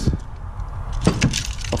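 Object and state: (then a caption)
Failed car alternator with loose debris rattling inside. A failed car alternator is shaken and spun, and loose chunks of plastic and springs from its broken brushes rattle around inside. Low clunks and brief metallic clinks sound over a steady rattle, with sharper knocks near the start and in the second half.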